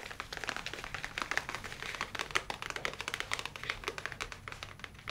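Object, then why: Leather tablet case. A dark leather folio tablet case is held in both hands and tapped rapidly with the fingernails. The result is a fast, continuous stream of crisp, bright clicks that sounds like typing, with very little low end and each tap dying away almost instantly.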